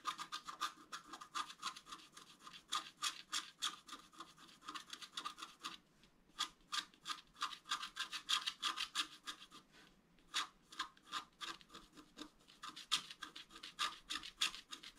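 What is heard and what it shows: A wooden stylus scratches quick, repeated strokes into a flat scratch-art card of black coating over colored foil, lying on a table, etching a fountain design. Each stroke is a short, dry, bright scratch, coming about three per second with brief pauses near 6 and 10 seconds, with no low rumble.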